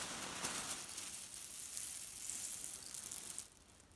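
A grey leaf-print cotton pillow filled with cherry stones is gripped and kneaded by the whole hand, so the pits grind and rattle against each other. The result is a steady, bright, crunchy rustling grind that carries on for about three and a half seconds, then drops away to near quiet.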